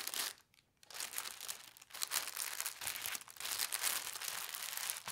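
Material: Tissue paper.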